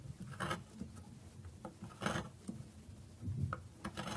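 A metal knife shaves a solid bar of dry soap resting on a wooden board, and the bar is briefly lifted. Dry, rasping scrapes come in short bursts with soft taps and rubbing between them. The sound is quiet and mostly low with a little brightness on the stronger strokes.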